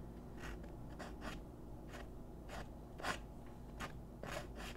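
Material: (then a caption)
Paper. A graphite pencil draws small scratching strokes on a thin white paper sheet resting on a wooden desk, with the left fingertips holding the paper down. Short, bright, dry scratches come in an irregular rhythm over a steady low background hum.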